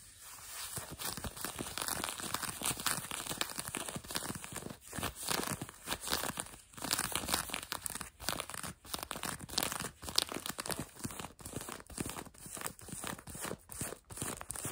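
Fingertips and nails quickly scratch and rub blue denim jeans fabric stretched over what looks like a leg or knee, soft over a solid form. The result is a dense, bright, rasping scratch with a crinkly, tearing texture, moving in short rhythmic bursts broken by brief pauses.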